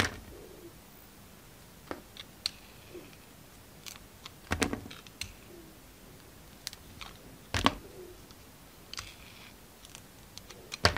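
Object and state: Soap bar shaved with a blade.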